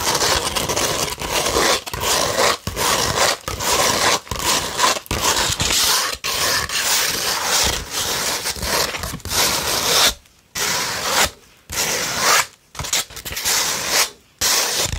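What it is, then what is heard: Sandpaper sheet scratched. A beige 100-grit sandpaper sheet is scratched and rubbed with fingernails and fingers. The result is a harsh, bright, gritty scraping in long, uneven strokes broken by brief gaps, with a few fuller silences toward the end.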